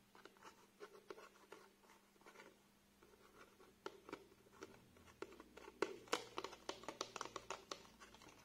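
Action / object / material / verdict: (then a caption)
scrape / plastic blister pack on cardboard backing / plastic / none. A small nail glue package, a clear plastic blister on a printed cardboard card, is held in the hands while fingernails scratch and tap the plastic front; then the card is turned over and its back is scratched. The result is quiet, dry scratching with a quick, uneven series of light, crisp ticks that grow slightly sharper and brighter toward the end.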